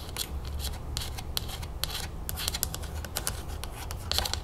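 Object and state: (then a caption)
Plastic screw cap tapped and scratched with fingernails. Long acrylic nails tap and scratch quickly on the top of a green plastic screw cap on a full plastic lemonade jug held sideways. A rapid run of crisp, bright clicks and scratchy rubs stops dead with almost no ring, over a steady low rumble.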